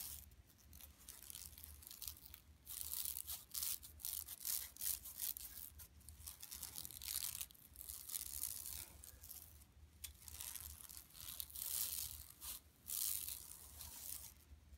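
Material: Woven plastic.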